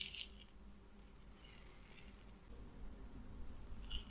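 A small clear glass bottle, partly filled with white round pellets, is held in the hand, tilted and shaken so the pellets rattle inside. Quiet, bright clicking rattles come at the start and again near the end, with a soft low rumble and faint scraping in between.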